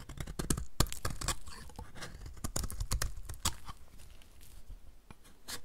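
A utility knife blade scrapes powdery shavings off the edge of a solid, dry, white rectangular bar of soap held in the hand. Quick, irregular dry scraping and crunching strokes come with short bright crackles over a low, soft rumble.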